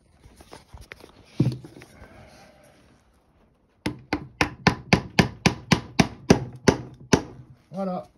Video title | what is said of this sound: Une transformation de table qui se termine pas trop mal… | quand ça sonne creux ça veut dire qu'elle est rentrer